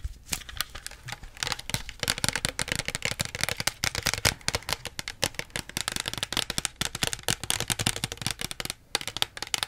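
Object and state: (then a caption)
Plastic soda bottle. Long nails tap rapidly on the plastic label and body of a small plastic Pepsi bottle held beside the face. The result is a dense, continuous stream of sharp, bright clicky taps with a hollow plastic edge. Each tap dies away almost instantly, with brief pauses between bursts.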